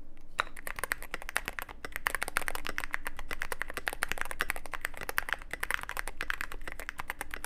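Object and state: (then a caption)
Mechanical keyboard, plastic keycaps in metal case. Both hands type continuously with fingertips on a Cyberboard mechanical keyboard of about 75% size, with white and grey plastic SA-profile keycaps on lubed switches in a hollow black aluminum case with an LED side panel. A rapid, steady stream of short, clacky keystrokes with a bright tone peaking around 1.4 kHz rides over a faint low hum, each tap dying away almost instantly.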